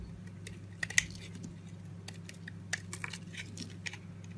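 A box-cutter blade carves a solid, palm-sized green soap bar, lifting thin layered flakes in a scraping cut. Short, bright crackling scrapes and sharp ticks are heard over a steady low hum.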